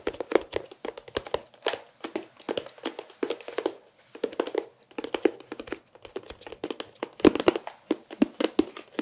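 A long, flat, hollow white pencil case with a bear print and a green edge, likely plastic, is held in both hands and tapped with the fingertips and nails. The result is bursts of quick, dry, short taps with a hollow mid-range body around 285 Hz and a light clicky edge. Brief pauses separate the bursts.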